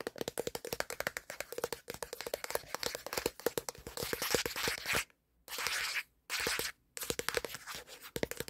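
Fingertips tap rapidly on the black plastic back panel of a smartphone while the phone records, making a fast stream of sharp, bright clicks with a hollow knock. Midway the taps blur into short bursts of dry scratching separated by brief silences, then the quick tapping resumes.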